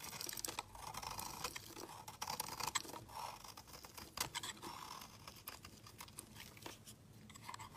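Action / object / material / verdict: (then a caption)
scrape / bar of soap shaved with a knife blade / soap / none. A steel utility knife blade shaves a solid white bar of soap into powdery flakes. Quiet, bright, crisp scraping and crunching strokes follow one another in a dense, irregular run, each ending almost instantly.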